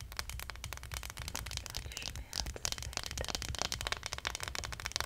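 Long nails scratch and tap along the spine and shoulders on the back of a small, likely hollow plastic acupuncture model doll. The result is a dense run of quick, bright clicks and scratchy rasps over a steady low rumble.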